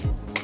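A metal spray paint can is held upside down and shaken, and its mixing ball rattles inside, stirring up paint that has settled to the bottom. About three sharp clicks land over a low rumble, with bright metallic ticks near 2 kHz. The can is working properly; a test spray afterward works fine.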